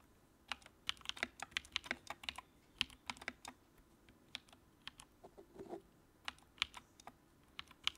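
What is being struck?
Plastic mechanical keyboard keys.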